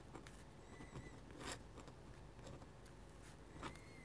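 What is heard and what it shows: A metal-nib dip pen scratches short vertical strokes on a sheet of flat white drawing paper. About four soft, bright scratches rise above a quiet, low background hum, each fading quickly, with faint thin tones drifting in between.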